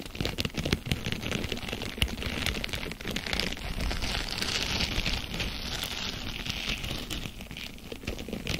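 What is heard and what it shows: A small, blue, hollow and porous plastic mesh sponge is held in both hands away from the microphone, then squeezed, crumpled and scratched with long painted fingernails and fingertips. It makes a dense, continuous crinkling and crackling with rapid sharp ticks, a low rumble and a bright hiss, much like rain on a surface.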